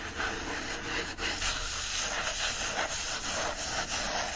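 Fingertips rub and scratch the paper pages and page edges of an open hardcover book resting on a blanket. A steady, bright, hissy scraping runs continuously for the whole clip, with small swells in the rubbing but no separate taps.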